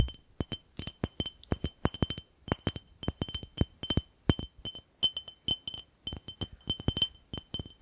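A glass jar is tapped repeatedly in a quick, uneven rhythm, giving a rapid series of about 38 sharp, bright glass clinks. Each clink dies away almost at once, with a faint high ringing tone above a dull low knock.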